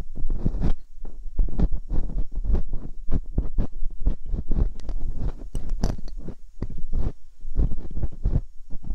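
Metal dental picks probe and scratch inside the ear canals of silicone ear molds on a binaural microphone. Close, muffled scratching and crackling comes in rapid, uneven bursts with a heavy low rumble underneath. There are occasional brighter clicking ticks as the picks move around.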